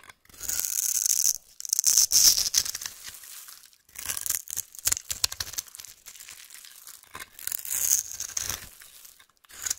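A metal knife shaves and scrapes crumbs off a solid yellow oval bar of soap held in the hand. The result is dry, bright scraping and crumbly rasping strokes in uneven bursts, with a faint high whistle-like edge to some strokes.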